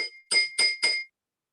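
A container half-filled with water is tapped three times with a spoon, each tap giving a short, bright ring with a clear tone near 2.1 kHz and a higher overtone. Its pitch differs from that of the full and the lower-filled containers.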